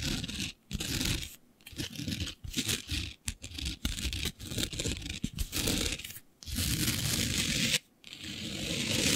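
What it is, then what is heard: Glitter-covered fabric scratched with nails. Long nails scratch a flat sheet of black fabric covered in fine green glitter. Rough, bright, tearing-like scratches come in uneven bursts separated by brief silent pauses, with a soft rustle underneath.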